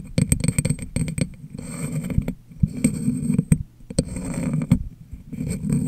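An empty, clear, medium-sized hollow glass jar sits upside down over a microphone and is tapped with long nails and fingertips. The result is a run of quick, dry clicks and soft thumps over a low, boomy hollow resonance, with brief scraping textures between bursts of taps.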